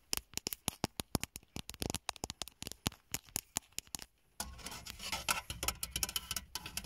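Fingertips and long nails tap quickly across the large, dark grey, textured plastic top of a hollow car dashboard panel, making dozens of sharp, dry, bright clicks with almost no ring. After a short pause, the tapping turns into a dense, continuous scratchy patter across the textured surface.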